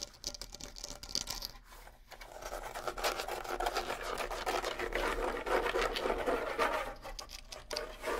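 Fingernails scratch and scrape the rawhide heads of a pair of small, hollow bongos. A soft, dry rasp starts sparse and quiet, then thickens into a louder, steady run of fast, uneven scrapes with a bright hiss over a mid-range drum-head tone, easing off briefly near the end.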